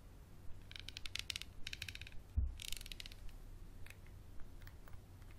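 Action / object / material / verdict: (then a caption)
scrape / small textured glass bottle / glass / none. A small textured glass bottle with a paper label and black cap is held on its side, then scratched and tapped with a wooden pencil and fingernails on the glass. Bursts of bright, rapid ticking scratches alternate with scattered light taps, and a duller low knock lands midway. A steady low hum sits underneath throughout.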